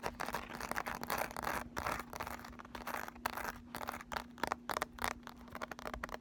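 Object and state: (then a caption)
Ridged embossed makeup palette case scratched. Long nails scratch along the raised ridges and lettering of a handheld, flat Urban Decay Naked eyeshadow palette, a thin hollow cardboard or plastic case with a ridged, sunburst-embossed lid. The result is a dense run of quick, dry, rasping scratch bursts with short gaps between strokes, over a faint steady low hum.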